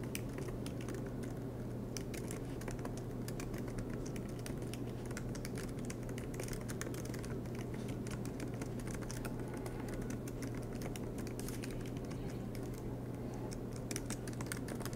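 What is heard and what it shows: Fingertips tap steadily and quickly on the black plastic keys of an aluminum MacBook Pro laptop. The result is a continuous patter of soft clicks over a low, steady hum, at an even, quiet level throughout.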